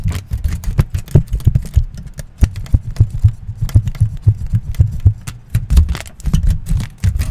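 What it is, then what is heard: Aluminium foil sheet. A wrinkled sheet of aluminium foil is held and crinkled with fingertips close in front of a microphone. The result is a dense run of short crackling pops over a deep, throbbing low rumble centered around 70 Hz. Each crackle dies away almost instantly.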